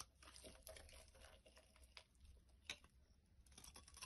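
A solid, translucent orange bar of soap, held in the hand with a second bar lying behind it, is shaved with a metal blade. Quiet, crisp scraping strokes repeat in short bright bursts, one sharper than the rest, over a faint low hum.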